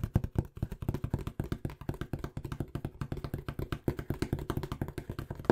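Fingertips tap and knock quickly on the surface of a small, hollow, brown corrugated cardboard box that looks empty. The result is a fast, steady run of dozens of short, dull, hollow thuds, weighted low with almost no ring.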